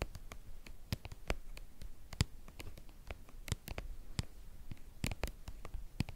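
Long painted nails scratch and tap the flat face of a white, hollow, hand-sized soft plastic cream tube. The result is a steady run of sharp, dry clicks over a soft, low scratchy rustle, each tap dying away almost instantly with a faint bright edge.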